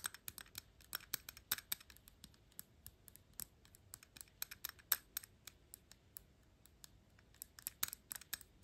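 Long pink nails tap and scratch the gold-tone metal cap of a glass perfume bottle, working over its ornamental ring and the top. Dozens of quick, bright, dry clicks come in irregular bursts, with faint scratching between them. Each tick dies away almost at once, with no ring.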